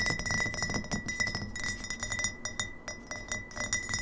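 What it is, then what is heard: Glass bottle, partly filled. Long fingernails of both hands tap quickly on an upright, partly filled glass kombucha bottle. The result is a rapid, uneven stream of bright glassy clinks with a short ring near 2 kHz and higher overtones above it.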